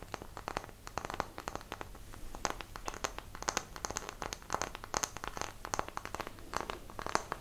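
Long nails tap and scratch the surface and edges of a small, solid, square light wooden block held in both hands in front of a microphone. The result is a rapid stream of dry, sharp clicks with a woody body around 900 Hz and bright tips, mixed with soft scraping between taps. Each tap dies away almost instantly.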